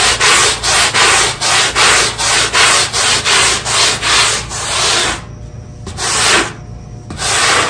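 A black push broom scrubs a small, square, wet, ribbed synthetic carpet tile, moving back and forth over the pile to deep-clean it. The result is a steady rhythm of bright, hissing, scratchy brush strokes, then a brief lull with a single stroke before the scrubbing resumes.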